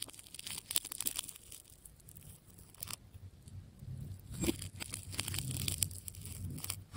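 A metal scalpel slices through the wound plastic layers of a hand-held, striped, solid tape ball. Bright tearing and crunchy crackles come in bursts over a low, steady rumble, with a sharper snap near the middle.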